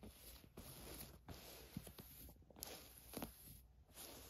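Long nails scratch and rub across a black ribbed stretch-knit tank top with thin straps lying flat on a fur rug. The result is soft, dry, scratchy rustling in uneven strokes with a few sharper scrapes, over a faint steady high-pitched hum. The level stays quiet throughout.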